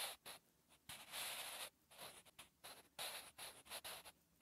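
A sharpened graphite pencil scratches and rubs across a lined notebook page while writing. The dry, bright scratching comes in short strokes and longer sustained rubs separated by brief pauses. It is quiet with almost no low end.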